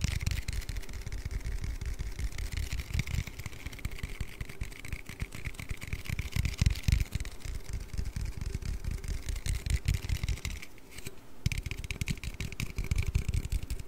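An aluminium Red Bull energy-drink can is tapped and handled in a fast, continuous run of short, dry taps. The taps have a dull low thump with a faint bright metallic edge. The activity briefly thins out just before the 11-second mark, then resumes.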